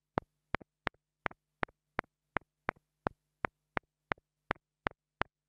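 A small black plastic mini lavalier microphone is tapped close-up with the side of a wooden stick, giving 15 sharp, dry clicks at a steady pace. Each click is followed by a softer rebound tick, over a faint constant low hum.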